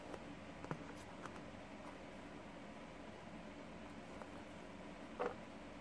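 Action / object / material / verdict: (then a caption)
flick / plastic paddle hairbrush with pin bristles / plastic / none. Fingertips and nails scratch and flick across the pin bristles of a green plastic paddle hairbrush held in one hand. Quiet, soft bristly rustling sits over a steady low hiss, with three brief, brighter flicks standing out, the last and strongest near the end.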